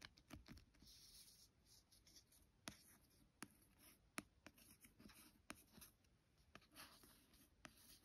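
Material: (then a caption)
Card. A fingertip and long nails trace and scratch over the glossy card cover of a solid paperback book lying flat. Soft, dry scratching and rubbing with a bright hiss is punctuated by sharp, brief nail clicks and taps, all at a quiet level.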